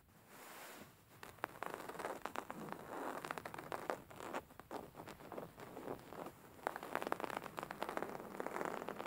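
Fingertips and short nails scratch and tap a beige woven linen fabric cushion lying flat. Dry, crackly scratching and soft rustling fill the clip, broken by quick, sharp little taps. The sound sits mostly in the mid-range with little deep low end.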